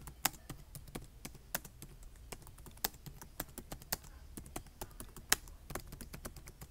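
Fingertips with short nails type on a black plastic laptop keyboard with side ports, tapping the keys in a quick, uneven run of about fifteen separate clicks. Each tap is a dry, bright plastic click that stops almost instantly, over a faint steady low hum.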